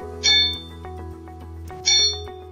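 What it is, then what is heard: Undamped steel beam, rings freely. A bare steel beam with no damping shim is struck twice, and each hit rings out in a bright, high metallic tone around 3.6 kHz with overtones that fade over a fraction of a second, over a steady low hum. The undamped beam rings, showing the kind of brake squeal that occurs without a shim.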